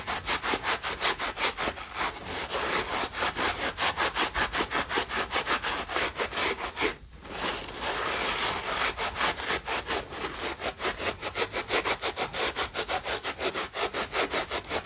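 A dry yellow foam sponge with a green nylon scour side is held in both hands over a white plastic basin while fingers squeeze, rub and pull at the scour layer and the foam. Rapid, rhythmic, bright scratchy rasping strokes are heard, like sawing, with a brief pause about halfway through before the rubbing resumes.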